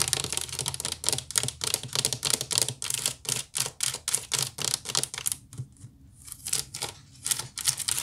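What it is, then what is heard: Wicker basket being scratched. Long pink nails of both hands scratch fast across a medium, hollow, empty woven wicker basket resting upside down on a table. About thirty quick, bright, raspy strokes come in an uneven rhythm, with brief lulls near the end. A faint low hum sits underneath.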